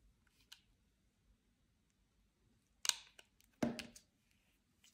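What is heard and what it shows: A metal utility knife blade cuts and scrapes into the surface of a solid, palm-sized white Ivory bar soap held in one hand. Three separate hits stand out against near silence: a faint tick early on, then two louder, bright, crisp scraping cuts that crackle briefly and die away quickly.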